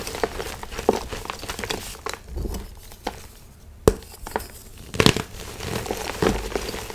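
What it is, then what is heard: Gym chalk blocks crushed by hand. Solid white and pastel-painted gym chalk blocks of magnesium carbonate, in heart and other shapes, sit in a plastic bin and are crushed and crumbled in bare hands with the fingertips and palms. Dry, crunchy, dusty crackling and crumbling comes in irregular bursts, with a few sharper snaps standing out over a soft gritty rustle.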